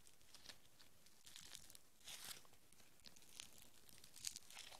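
Green foam bead clay is pulled into a long rope with both hands, then kneaded into a small lump with the fingertips. The result is soft, quiet tearing and bright, crackly popping that comes in short bursts over a low rustle.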